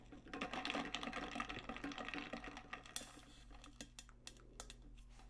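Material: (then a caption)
Stainless steel. A large metallic pink stainless steel tumbler with a lid and straw is tapped and scratched on its body with long nails. Quick, irregular clicking taps ring briefly over a low steady hum, with sharp bright scratches and a broadband swipe near the middle.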